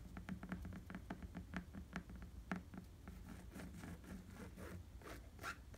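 Fingertips tap and scratch on an inflated tan rubber bicycle tire with tread. A run of quick, soft, dull taps with a low tone gives way to lighter scratching across the rubber in the second half. The sound stays quiet and close throughout.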